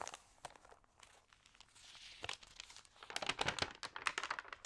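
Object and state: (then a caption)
Thin paper magazine pages. Long nails scratch and rub the thin, water-sprayed pages of an open magazine, producing crisp, dry crinkles and rustles that are mostly high and bright. The sound starts sparse and soft, with a smoother swishing rub in the middle. It then becomes denser and louder with rapid crackling bursts toward the end.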